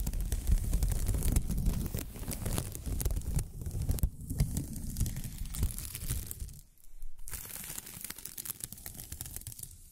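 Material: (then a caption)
Plastic film. A pink crinkly plastic film ribbon tape is held upright and squeezed and rubbed by fingers with long nails. Dense, irregular crinkling and crackling rustles through the clip, with a strong low rumble beneath and bright crisp edges. The crinkling briefly drops away near the seven-second mark and then resumes.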